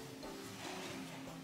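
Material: Nothing is struck.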